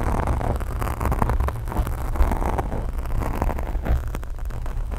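Long acrylic nails scratch and rub a black foam microphone windscreen, with the hands staying on the foam throughout. The result is a steady, muffled rumble, heavy in the low end, with dense, rapid scraping and rustling textures layered on top at a fairly even level.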